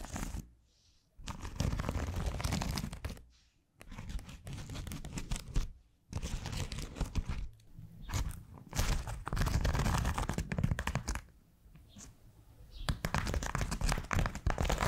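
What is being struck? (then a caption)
Polymer foam scrub sponge. Long acrylic nails scratch and tap a round, white, hand-sized solid polymer foam scrub sponge with a smiley face. Dense, crunchy, crinkling scratches come in bursts, heavy in the low end, separated by brief quiet gaps and a softer stretch near the end.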